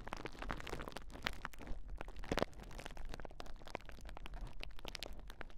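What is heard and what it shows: A large clear plastic bubble wrap sheet is held across a pair of Rode NT5 microphones while hands press, scratch and pop the bubbles. The result is a dense, steady stream of sharp crackles and snapping pops over a low rustling rumble, with a louder burst of popping near the middle.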